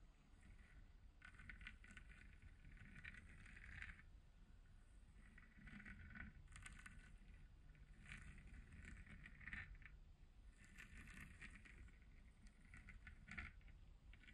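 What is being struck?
Hollow plastic moon lamp.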